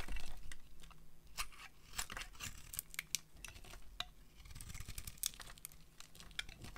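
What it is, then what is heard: Dry soap bar being scraped. A metal blade scrapes curls off the flat face of a solid orange-peach dry soap bar. Irregular bursts of dry, crisp scraping and crackling flick up into bright highs over a faint low rumble. Each short scrape stops almost at once, with no ringing.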